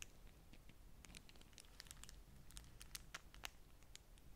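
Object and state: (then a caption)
Beeswax-coated cotton food wrap. Long manicured nails and fingertips scratch and crinkle a single folded beeswax-coated cotton food wrap with a bee print, a thin, waxy, flexible sheet held over a stack of other wraps. The clip is quiet, with a steady stream of short, bright crackles and scratchy ticks over a soft low rumble. A few sharper crinkles stand out near the middle.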